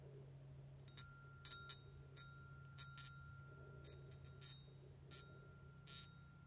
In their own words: Es un pequeño frasco de perfume precioso. Es muy dulce, ¿verdad? Así que es cristal.